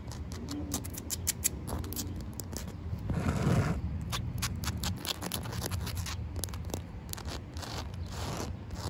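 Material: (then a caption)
Concrete. Long white nails and fingertips tap and scratch a large, solid slab of wet concrete ground with a seam and a puddle. Quick, dry, bright clicks and scratches come in an uneven stream over a steady low rumble, with a louder, rougher scraping stretch about a third of the way through.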